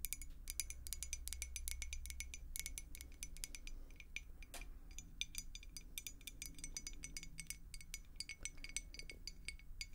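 A clear glass beer mug with a handle, partly filled with water, is tapped and scratched with long acrylic nails. Rapid, dense bright clinks and ticks ring out briefly over a steady low background hum.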